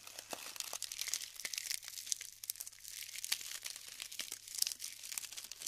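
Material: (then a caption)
Styrofoam. Both hands squeeze and break apart clumps of glued, colored styrofoam balls from a tray, crumbling the clusters between their fingers. A dense, steady stream of bright, crisp crinkling and crackling is heard, with sharp little snaps and pops throughout and almost no low end.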